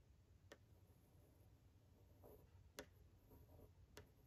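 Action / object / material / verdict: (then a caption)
tap / glass of a framed picture tapped with a wooden pencil / glass / none. A yellow wooden pencil held in the hand taps and scratches along the face and shoulder lines of a framed male figure drawing, striking the glass over it. Three short, sharp ticks stand out, with soft scratching strokes between them over a quiet low hum.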